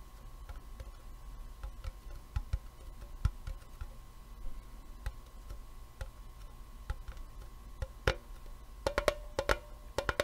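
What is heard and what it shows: A small, hollow, rectangular printed metal tea tin with a lid is held in the hands and tapped with the fingertips and nails. Soft, dry ticks and clicks come at irregular intervals over a faint steady hum, each dying away almost at once. Near the end the taps grow louder and faster, with a hollow metallic tone around 600 Hz.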